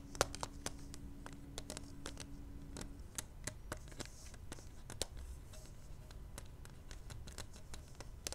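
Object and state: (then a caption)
Plastic pacifier case tapped with fingernails. Long manicured nails tap and scratch the outside of a small, hollow, clear plastic case holding a pink pacifier as it lies on velvet. Many quick, dry, bright clicks and scratchy ticks with almost no ring sit over a quiet low rumble, and a faint steady low tone fades out after about three seconds.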